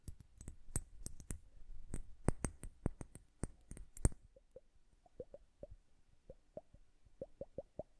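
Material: Glass.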